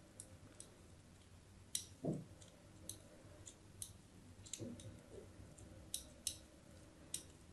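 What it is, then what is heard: Bar of soap being scored. A craft blade scrapes diagonal score lines across the surface of a solid white bar of soap held in the hand. A series of short, crisp, bright clicks and scratches is heard, with a couple of duller, lower scrapes around two seconds and midway through. The sound is quiet and dry, with each stroke ending almost instantly.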